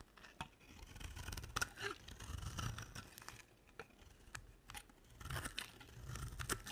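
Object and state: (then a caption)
Dry soap bar. A utility knife blade carves curls off a dry, solid pink and white soap bar. Dry, crisp scraping and crunching strokes come in uneven bursts, with bright, sharp clicks over a soft low rumble. The cuts end abruptly with no ring.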